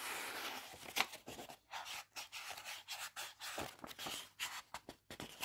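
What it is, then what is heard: Paperback book paper pages. The paper pages of an open Heartstopper paperback graphic novel are rubbed and turned with fingertips and nails. The result is a quiet series of bright, dry rustles and scratchy swishes, with short gaps between them and almost no low end.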